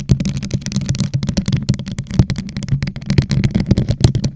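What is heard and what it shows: A hollow gold rhinestone-covered plastic tumbler, turned upside down over a microphone, is tapped and scratched on its sides with long nails. The result is a fast, dense run of short, dry clicks and ticks over a low, hollow resonance, with brief bright clatter on each strike and scratchy rustling in between.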